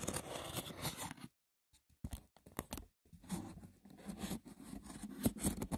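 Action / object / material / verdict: scrape / woven wicker basket box / wicker / none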